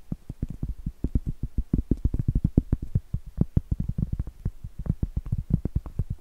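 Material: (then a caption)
Cork. Medium acrylic nails tap and scratch the face of a round, flat, solid cork trivet board. Around forty quick, dull, low knocks come in a fast, uneven run, each dying instantly with no ring and almost no high content.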